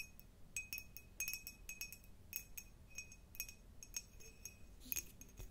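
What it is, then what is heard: Cut glass jar. An empty, hollow, clear cut glass jar with a diamond pattern is held close and tapped and scratched with long nails. The result is a quick, uneven series of bright, high clinks and light scratches, each dying away almost at once, with a steady low hiss underneath.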